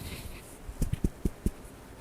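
A lock of Romney wool with large crimp waves, about one per inch, is pinged five times, giving short, dull, very low taps with almost no ring. The tone is very low.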